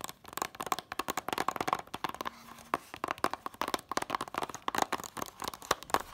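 Fingertips and long nails tap rapidly and scratch on the back, then the front, of a small, flat, hollow 2-disc DVD case for The Incredibles in a red printed cardboard slipcover. The taps are dry, light clicks with a hollow midrange knock around 1 kHz, crisp edges, almost no low end and no ring. A brief quieter pause near the middle carries only soft scratching and a faint low hum.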